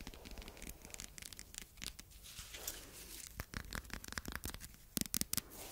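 A wide roll of red plastic packing tape with a cardboard core, held in both hands, is scratched and tapped with long red nails on the tape surface. Soft, dry scratching and crinkly rasps run throughout. Near the end, a few sharper, brighter taps stand out.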